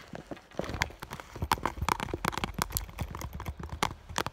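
Long nails tap quickly on the front of an iridescent clear vinyl school bag with an item inside, giving a dense run of short, sharp plastic clicks. Each tap has a bright, crisp attack and dies away almost at once, with some taps carrying a light hollow ring.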